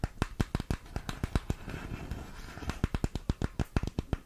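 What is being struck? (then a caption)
Small printed cardboard box. A small, hollow, colorful printed cardboard makeup box is held in both hands and tapped with long pink-painted nails. About 24 short, dull, low-heavy taps land in quick, uneven bursts, with a soft rustling patch between them as the box is handled.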